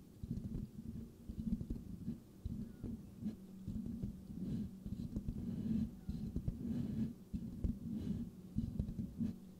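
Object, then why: Metal mesh microphone grille. Fingertips of both hands scratch the rounded, hollow metal mesh grille of a white microphone. The result is a close, boomy, low-pitched scratching and rustling that comes in dense, irregular bursts. It has muffled thumps and almost no bright high end.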